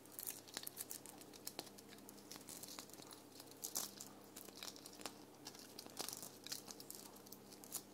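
A small red foam ball ornament covered in sequins and glitter hangs on a tree while long nails scratch across its rough surface. The sound is quiet, dense crackly scratching, with bright, short ticks and rustles spread through the clip.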